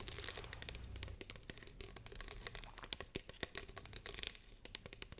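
A hollow green plastic spray bottle with a trigger head, held in the hands, is tapped and scratched with long painted fingernails. Quick, dry clicks and taps scatter among bright crinkly scratching, with no ring after each hit.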